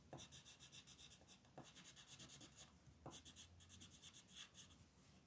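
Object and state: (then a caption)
Pencil coloring on a paper sheet. A green wooden colored pencil rubs in dense, fast strokes across a flat printed paper coloring sheet on a desk, while the other hand with red nails holds the sheet. The result is a steady, rhythmic run of bright, scratchy rasping bursts with a soft low undertone, briefly easing around the middle before the strokes pick up again.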